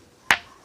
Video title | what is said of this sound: एक ऐसा मंदिर जिसमे पत्थरों में से आती है घंटे की आवाज - काकुन प्राचीन मंदिर - बुंदेलखंड वीडियो | उससे कुछ भी आवाज नहीं आती उससे पत्थर की आवाज आएगी